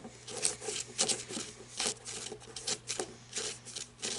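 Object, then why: Matte flashlight barrel. Long red nails scratch and tap along the barrel of a black matte flashlight of plastic or coated metal resting on a wooden table. Bright, raspy scratching strokes alternate with short, sharp taps that die away quickly, mostly in the high range with almost no low end.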